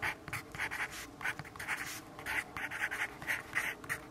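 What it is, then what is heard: Pencil writing on a paper notepad. A yellow graphite pencil writes on a lined paper notepad resting on a wooden desk, scratching lightly across the paper. Quick, dry, bright scratchy strokes come in rapid bursts, with little low end and almost no ring after each stroke.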